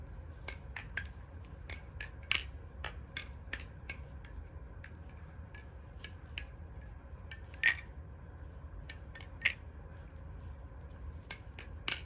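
An Alpha Beast balisong (butterfly) knife is flipped open and closed, making a string of short, sharp metallic clacks with a bright high ring. The clicks come irregularly over a low background hum, with louder clacks around 2.3, 3.5, 7.7, 9.5 and 12 seconds.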